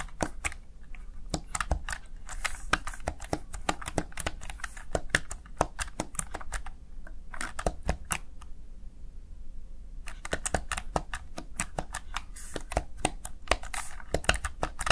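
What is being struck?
Plastic keypad keys.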